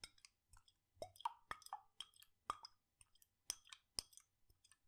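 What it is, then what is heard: Glass jar of liquid being shaken. A glass jar with a red lid, partly filled with blue liquid, is swirled and shaken in one hand with fingertips resting on the glass. The result is a quiet series of short, dry liquid plops and bright glassy clicks with almost no ring and very little low end.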